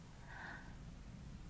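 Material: Nothing is struck.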